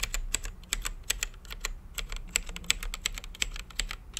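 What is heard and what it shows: Fingertips type steadily on an RGB-lit mechanical keyboard with plastic keycaps and a clear acrylic case, producing a rapid, uneven run of sharp, bright clacks. Each keystroke snaps off almost instantly over a faint, steady low hum.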